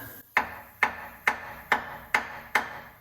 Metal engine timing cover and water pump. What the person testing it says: That sucker sounds solid as a rock, don't it?